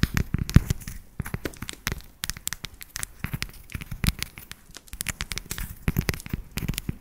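Long nails tap and scratch a solid, segmented dark chocolate bar held close to the mic. The result is a rapid stream of dry, crackling clicks and scrapes with bright edges and a dull low thump underneath, each tick dying away almost instantly.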